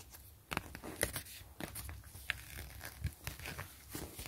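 Long glitter nails and fingertips scratch and tap the surface of an empty, flat, clear grid-reinforced PVC zipper pouch with a woven grid and gray trim. The sound is a steady, quiet crinkly rustle of plastic with sharp, bright taps and clicks that stop almost instantly.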